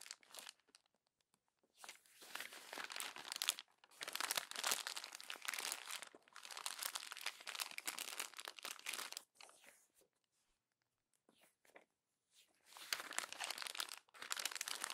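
Fingertips and long nails crumple the pages of an open glossy paper magazine and squeeze the crinkled pile. Bursts of bright, dry crinkling and crunching come in long stretches, broken by brief quiet pauses, with almost no low end.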